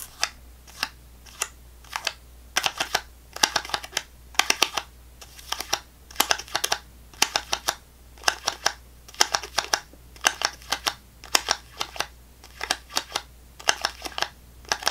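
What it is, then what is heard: Plastic fruit cup. Long fingernails tap and scratch the bottom of a small clear plastic snack cup full of orange fruit pieces, held upside down in the hand. Quick clusters of sharp, bright clicks and short scratchy rasps repeat throughout, each dying away almost instantly over a faint low hum.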